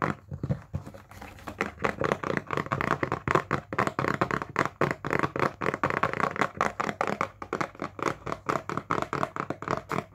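A small, hollow printed cardboard retail box is held in the hands and tapped with fingertips and nails. A long run of quick, dry, hollow taps follows, short and muffled with little ring, shifting between slower and faster patterns.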